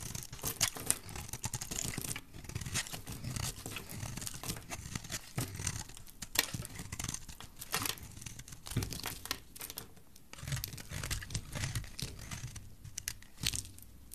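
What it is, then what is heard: Dry soap bar being shaved. A metal blade shaves a solid, dry olive green bar of soap, and long curls fall onto the table. Dense, dry scraping and crinkling strokes come in quick bursts with short pauses, bright and crisp on top over a soft low rumble.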